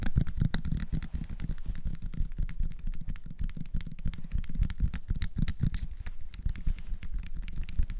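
A small clear, labeled plastic syrup bottle holding dark liquid, with a red plastic flip-top cap, is held in both hands and tapped fast with fingertips and nails. The result is a dense stream of short, dull, low taps with very little ring, over a steady low rumble.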